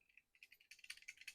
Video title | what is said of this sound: Reate Exo M added lock and clip make it a true EDC ! | it's when it's out you can hear it more